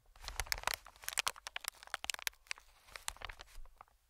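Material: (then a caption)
Plastic film. Fingertips tap and scratch a medium green, inflated plastic-film air cushion, giving a quick run of crisp, bright crinkles and soft taps. Each sound is short and dry, with almost no ring, over a faint low rumble.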